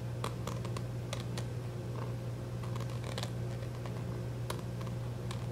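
A small white plastic squeeze tube of skincare cream with a white plastic cap, held in both hands and apparently filled with product, is tapped and scratched with short fingernails. Soft, quiet clicks and brief scratchy ticks come and go over a steady low hum.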